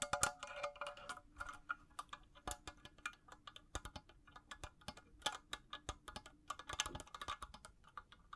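Long blue-painted natural nails tap and scratch a hand-sized, hollow, empty cylindrical makeup brush holder with faceted clear crystal panels, held in both hands. Dozens of quick, bright clicking taps with short glassy ringing around 1.4 kHz are mixed with light scratching over a faint low steady hum.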